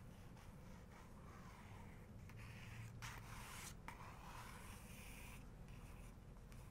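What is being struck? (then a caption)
Glossy paper page of a photo book. Long nails trace and scratch across a full-page portrait in an open photography book, while the other hand holds the page edge. The result is a quiet, steady paper scratching and rubbing over a low background rumble, with brighter, hissier strokes swelling in the middle of the clip.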